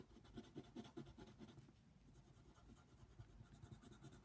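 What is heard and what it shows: A yellow colored pencil tip rubs and scratches in small strokes across a flat paper coloring book page, making soft, quiet, repeated scratchy strokes. The strokes are brisk but uneven in rhythm, each with a faint papery rasp and no ring.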